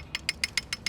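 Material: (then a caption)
Steel, painted metal. On a 2025 Lectric XP 4 e-bike with a 750 W motor, the chain taps against the thick rear chainstay tube of the frame, which is bare painted metal with only one small piece of protective film. Six short, bright metallic ticks sound in quick succession over faint low rumble, each dying away almost instantly. This chain slap is a problem because it will wear the paint down to raw metal, so frame protection film is recommended.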